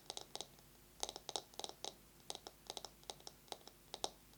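A bamboo massage brush is tapped fast with long nails and scratched. About 17 quick, dry, bright clicks come in uneven bursts, each dying away almost at once, with a faint hiss between them.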